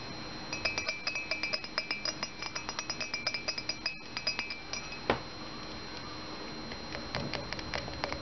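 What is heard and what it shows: An empty round ceramic Minnie Mouse mug, held in one hand, is tapped and scratched with fingernails on its painted side, giving a quick run of bright, short clinks over a faint scratchy hiss and a steady high ringing tone. A single louder knock stands out midway, then the tapping picks up again more sparsely as the mug is turned over to show its base.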